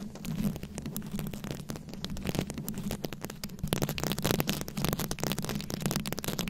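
Long nails scratch and tap across a round microphone head covered in rhinestone beads. A dense run of crackly scratches and sharp clicking taps rides over a steady low hum, growing busier and louder in the second half.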